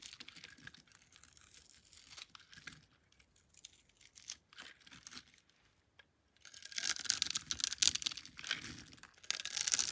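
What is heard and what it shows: A palm-sized, partly carved solid pink bar of soap held in the hand is scraped and cut with a metal blade into small cubes and strips. Soft, crisp scraping and cutting sounds are heard, then a brief pause, followed by louder, brighter crackling and crumbling as the blade cuts through.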